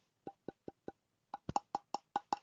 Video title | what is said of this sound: Woodturning - Special guest earworm (Man of Crafts) | if i tap it's definitely sounds hollow